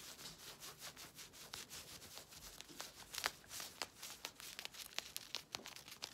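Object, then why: Knit stretch fabric leggings. Long red nails scratch and rub the ribbed knit fabric of black stretchy leggings being worn, which have a ribbed elastic waistband. The result is a quick run of bright, hissy scratching strokes with almost no low end, with sharper scratchy accents growing more frequent toward the end.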